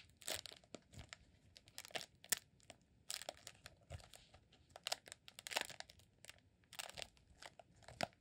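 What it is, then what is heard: Rolled beeswax candle. Fingertips scratch and squeeze the surface of a green rolled honeycomb beeswax candle held diagonally. This makes quiet, dry, bright crinkling and crunching bursts with many short scratchy clicks and almost no low end.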